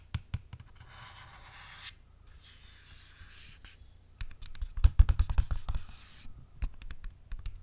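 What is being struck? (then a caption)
Paperboard box. A red printed paperboard eyelash box, held in both hands, has its surface scratched and rubbed with fingernails. Soft, hissy rubbing strokes and irregular dry scratches and taps are heard close up, with a denser, louder burst of scratching around the middle before it settles into scattered scrapes.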